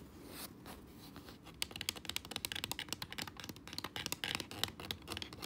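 Fingertips and nails tap the hollow shell of a white plastic Xbox controller and click its face buttons and thumbstick. A soft, scratchy brushing opens the clip, then gives way to a quick, irregular run of sharp, dry, bright clicks and taps with almost no ring.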